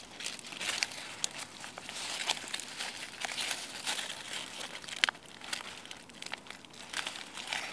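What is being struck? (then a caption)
Chestnut leaves. Fingertips with painted nails rub and crumple a cluster of dry, brittle brown sweet chestnut leaves on a branch outdoors. The sound is a steady, bright crinkling and crackling with almost no low end, punctuated by sharp, crisp snaps that die away instantly.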